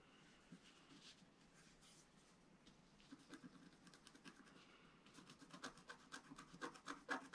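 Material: Coated paper.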